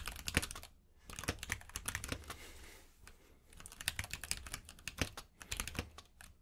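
Fingertips type on a compact mechanical keyboard with plastic keycaps resting on a purple mat. Quick, bright clacks come in bursts, broken by two short pauses.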